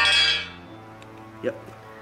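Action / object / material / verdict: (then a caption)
tap / car underbody mounting point / steel / none. A metal mounting point at the rear mounting holes for an aftermarket H-brace under a Honda del Sol's chassis is tapped. It gives a bright, high-pitched metallic clink that rings briefly and fades, followed by a quieter low knock, and it sounds like solid metal.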